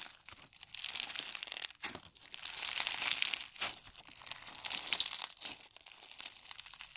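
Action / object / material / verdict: scrape / foam bead slime (floam) / foam beads / none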